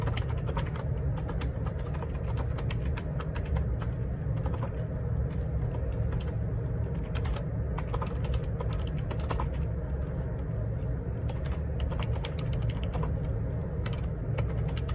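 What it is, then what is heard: Plastic split keyboard being typed on. Fingertips type steadily on a black plastic Perixx Periboard 612 wireless Bluetooth split ergonomic keyboard, with a hollow housing and plastic keycaps, resting on a desk. Rapid, continuous key taps and clacks ride over a constant low hum around 105 Hz, with bright clicks flickering through the whole clip at an even level.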